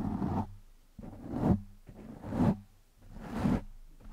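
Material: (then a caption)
Foam. Fingertips of both hands scratch and rub the top and sides of a black foam windscreen over a microphone. This makes muffled, low, scratchy rubbing swells that rise and fade about once per second. The sound is heavy in the lows with almost no bright content.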